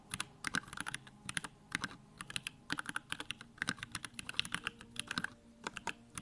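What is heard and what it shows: Both hands type with their fingertips on a compact 65% Bakeneko65 mechanical keyboard with Durock lavender switches, pink plastic keycaps and a dim RGB backlight. About three dozen short, bright clacks come in quick, uneven bursts, each dying away almost instantly with little low end.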